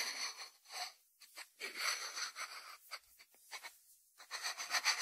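Fingertips tap and rub the lid and sides of a small, round, hollow white ceramic salt dish with its fitted ceramic lid on, resting on a wooden board. Quiet, bright, scratchy rubbing comes in uneven bursts separated by short silences, with a few light taps and almost no low end.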